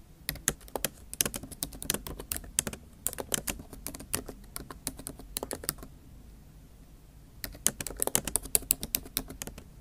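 Both hands type on a MacBook Pro backlit keyboard, black plastic keys set in a silver aluminum laptop body, using the tips of long acrylic nails in a rapid tap. Sharp, bright clicks patter in quick bursts over a soft low hum, with a brief lull near the six-second mark before the tapping resumes.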